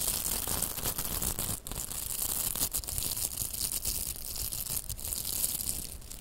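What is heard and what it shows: Long nails scratch along the bristled surface of two pink, hollow plastic velcro hair rollers held side by side. The result is a continuous, dense, bright rasping crackle, broken by a few brief dips, with a steady low rumble underneath.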